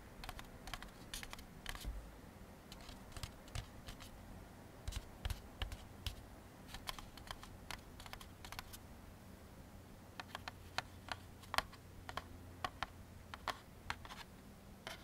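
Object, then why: Molded-fiber paper plate. Fingertips of one hand tap rapidly inside the face of a thin, empty white molded-fiber paper plate held on a wooden table. The result is a quick, irregular stream of dry, sharp clicks with bright, crisp edges. Each click dies out almost instantly over a steady low background rumble.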